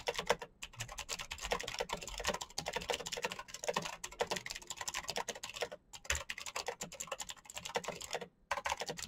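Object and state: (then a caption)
Mechanical keyboard. A full-size black plastic Razer mechanical keyboard with clicky green switches and RGB backlight is typed on fast by fingertips. A dense, steady stream of sharp, bright clicks and clacks runs throughout, broken by brief pauses near the middle and near the end.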